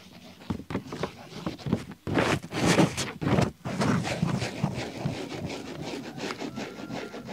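A blue ballpoint pen scribbles and scratches across the pages of an open paper desk diary with dated pages, while the pages bend and flip at times. The sound is dry, rubbing scratches in short, irregular bursts, with louder, denser stretches in the middle and a steadier, softer scratching toward the end.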